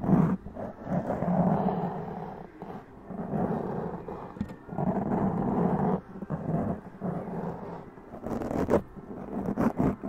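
Long press-on nails scratch and tap a black foam windscreen on a large condenser mic, making dense, close rasping bursts with a low, growl-like rumble. Sharper taps break through near the middle and toward the end.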